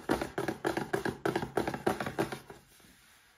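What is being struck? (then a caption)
Small printed cardboard box. Fingertips and short nails rub and scratch across the printed front and sides of a small upright cardboard box holding a Paladone Mario Kart glass. A quick, steady run of dry, papery scratching strokes sounds with a hollow midrange tone, then stops, leaving near-silence for the last second.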